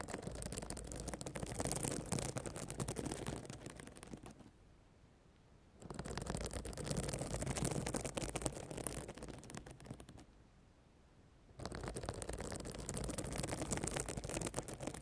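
Long black nails scratch and brush the plastic reversible sequins on the flat fabric cover of a notebook, making a dense crackling rattle. The sound comes in three bursts separated by two short quiet pauses.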